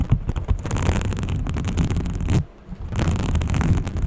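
Long painted fingernails scratch and rub a small green textured fabric case, likely a pouch, held close to the microphone. The result is a dense, continuous scratchy rustle with a strong low rumble. It pauses briefly just past the midpoint, then resumes.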